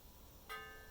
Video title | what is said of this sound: How to find cast iron flaws | this cast iron is not cracked, and I can show you and prove to you by the way that it sounds.